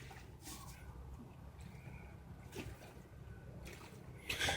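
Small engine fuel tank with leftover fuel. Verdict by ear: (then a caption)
Gritty. A used fuel tank removed from a Craftsman Truck riding mower is shaken, and the small amount of leftover fuel sloshes inside with a faint rattle of loose grit. The grit is a fault: it has been plugging the mower's fuel filters. Three bursts of swishing stand out, the last one loudest.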